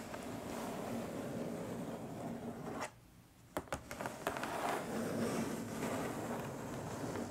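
Long nails scratch steadily across the top of a long, flat, printed cardboard box that sounds hollow, producing a dense, papery rasp. After a brief quiet pause, the nails tap a few times sharply on the box before the scratching resumes to the end.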